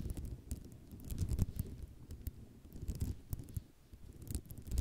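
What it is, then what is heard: Ceramic mosaic tile sheet. Long nails tap and scratch across the rows of small tiles on a white ceramic mosaic tile sheet. Quick dry clicks and scraping come in an uneven, busy stream over a low rumbling bed, with bright ticks standing out above a quiet, mostly low-heavy sound.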